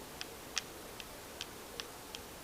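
Small stamps carved with Chinese symbols for love, health, longevity and good luck are clicked together six times. Each contact makes a light, sharp, high-pitched click that dies away almost instantly, with quiet gaps between them.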